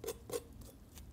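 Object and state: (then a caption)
Crispy roast goose skin. Four short, crisp taps and scratches on the skin of a roast goose just out of the oven, the first two the loudest, giving a dry crackle. The skin is nicely crispy from top heat at the end of roasting.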